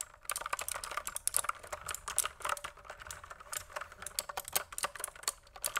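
A full-size pink plastic mechanical keyboard, held up toward the camera, is typed on with fingertips in quick key presses. It makes a rapid, uneven stream of crisp, bright clacks that stop short with almost no ring and very little low end.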